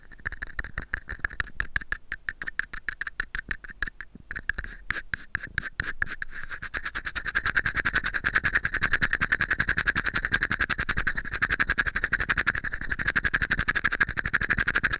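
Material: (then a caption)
Plastic. A small, hollow, empty red and white plastic cup is held over a microphone and tapped and scratched with fingernails. Sharp, dry clicks with a hollow plastic tone around 1.7 kHz start out spaced and uneven, then from about seven seconds build into a denser, louder stream of rapid tapping and scratching that continues to the end.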